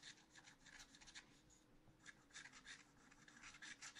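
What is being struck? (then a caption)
Black-coated scratch art paper scraped with a wooden stylus. A wooden stylus scratches short strokes into a black-coated scratch art paper sheet in a spiral notebook. About a dozen quiet, dry, raspy bursts come through, bright and papery, each ending almost at once. A faint steady low hum sits underneath.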